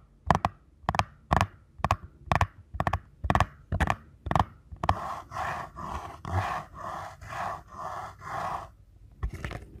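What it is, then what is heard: Cardboard box. Fingertips tap quickly along the narrow printed side of a small paperboard box held edge-on, producing a run of crisp, dry taps for the first half. The sound then shifts to softer, sustained scratchy strokes over the box, ending with a final tap.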